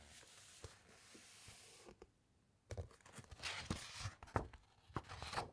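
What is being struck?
Thick paper pages of a large book.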